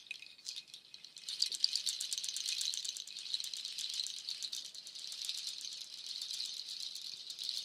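A nut shell waterfall shaker, long cord strands of dark hollow nut shells, is lifted and let fall or shaken so the shells clatter together. A soft, sparse rattle builds after about a second into a dense, continuous, bright clatter of many tiny clicks with almost no low end, which keeps going steadily to the end.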